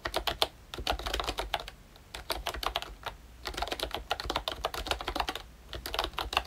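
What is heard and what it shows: Fingertips type continuously on a pink and brown plastic ROYCHE Disney Mickey Mouse retro membrane keyboard. Soft, quick, bright clicks come in rapid bursts, with brief pauses around the two- and five-and-a-half-second marks. Each keystroke is short and dies out almost instantly.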